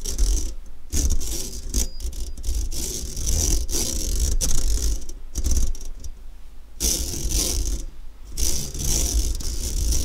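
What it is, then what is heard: Stainless steel mesh sieve scraped with a fork. A metal fork scratches back and forth across an empty, medium-sized round stainless steel wire-mesh kitchen strainer lying in front of the microphone. The result is a steady run of raspy, rattling scrape strokes with a bright, hissy edge over a low rumble, briefly pausing between passes.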